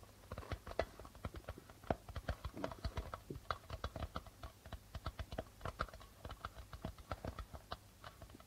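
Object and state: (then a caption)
Darbuka drum with a plastic head. Fingertips drum quickly on the plastic membrane head of a hollow darbuka drum. The result is a fast, irregular run of short, dry taps with low thuds and a hollow mid-range tone that die away almost instantly.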